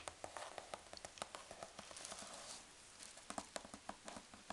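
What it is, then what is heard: Cardboard box. A large corrugated cardboard box is closed over packing peanuts while long dark nails tap on its folded cardboard flaps. About 18 quick, dry taps sound with short, bright clicks and almost no ring. A soft papery rustle fills the gaps, with a quieter stretch of rustling in the middle before the tapping picks up again.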